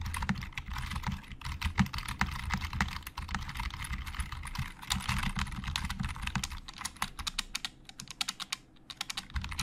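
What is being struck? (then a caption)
Plastic computer keyboard. Both hands type with their fingertips on a hollow black plastic Logitech computer keyboard, producing a steady stream of quick, bright key clicks over a low rumble. The typing is fast and dense at first, then thins toward the end into sparser, separate taps.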